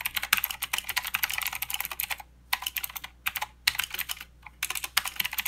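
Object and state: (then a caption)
Plastic mechanical keyboard, clicky switches. Fingertips of both hands type continuously on a plastic mechanical keyboard with clicky blue switches and plastic keycaps. The bright, sharp key clicks come in rapid bursts, with brief pauses around 2.3, 3.3 and 4.2 seconds. Each click dies away almost instantly, with very little low end.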